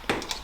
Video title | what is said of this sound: EcoBoost Gets a LOUD Blow Off Valve!! (TurboSmart Dual Port) | this is just cheap. Like, this is plastic. You can hear how that sounds. Sounds cheap.